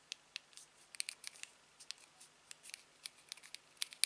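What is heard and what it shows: A thumb repeatedly presses and taps the click wheel and buttons of a small, silver, hollow aluminium TV remote. About sixteen faint, bright, dry clicks and ticks come in an uneven series, each dying away almost instantly with no low end.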